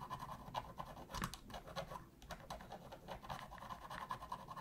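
A thin metal pick scratches along the seams beside the Sony logo and D-pad of a black, hollow plastic PS3 controller. The result is a steady run of quiet, dry scratching and ticking, with a scraping tone centered near 1 kHz and brief brighter clicks.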